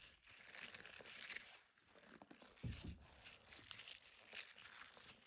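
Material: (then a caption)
Silicone. A soft, flexible, hand-sized blue silicone scrubber with dense spiky bristles and a suction-cup knob is squeezed, bent and rubbed with both hands. It makes a steady crinkly, rubbery rustling with a bright hiss, rising and falling in waves, with a louder low thump partway through.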